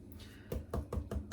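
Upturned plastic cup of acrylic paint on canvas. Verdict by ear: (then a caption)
Hollow. Several quick, dull knocks are tapped on the bottom of an upturned plastic cup of acrylic paint resting on a canvas during an acrylic pour. The taps sound low and hollow with almost no ring, which means the paint has run out of the cup and it is ready to lift.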